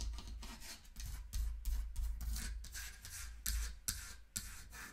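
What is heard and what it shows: Long nails scratch and rub the painted wooden sides and back of a small hollow wooden mantel clock standing on a pink pouch. Quick, uneven strokes give a bright, raspy scratching texture over a low, hollow body rumble.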